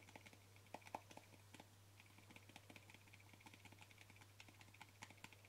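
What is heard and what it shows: Short fingernails tap quickly on the lid and rim of a small white plastic cream jar with a yellow label, held in one hand. The result is a rapid, uneven stream of light, dry clicks with a bright edge that stop almost instantly, over a steady low hum.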